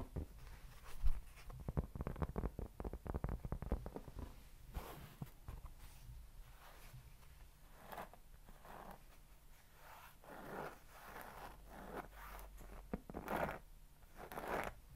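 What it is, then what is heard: Cork board, scratched. A round, flat, solid cork board is rubbed and scratched with fingertips close to the mic. Quick scratchy strokes, dense at first and later spaced into soft swishes, sit over a low, dull rumble.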